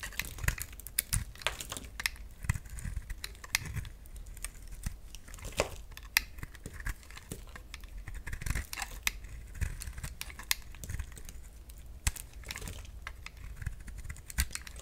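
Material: Soap.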